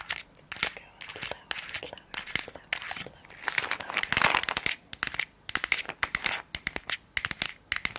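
Long acrylic nails rapidly tap and scratch a small rectangular Bullrich tablet container with a white plastic body and a blue plastic lid, hollow with tablets inside. The result is a dense stream of crisp, bright plastic clicks and scratchy, crinkly rasps with almost no low end. Each tap dies away almost instantly.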